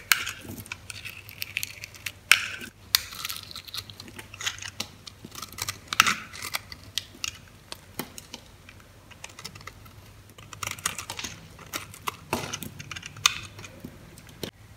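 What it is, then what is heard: Bar of soap being cut. A metal utility blade slices and scrapes flakes off a solid, hand-sized white bar of soap held in the palm. Crisp, bright scratching and cutting sounds come as a dense run of short clicks and crackles, some sharper and louder than others, over a faint low hum. Each stroke stops almost instantly, with no ring.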